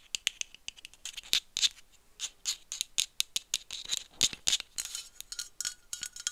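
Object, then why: Metal aerosol can. Long nails tap and scratch along the body of a dark metal aerosol spray can with a white cap, held upright. Quick, bright clicks and scratchy strokes come in an irregular run of many short, dry taps with almost no low end and very little ring.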